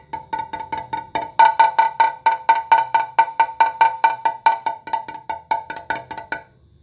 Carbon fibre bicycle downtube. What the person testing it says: if we move over to the voided area you clearly hear the difference in tone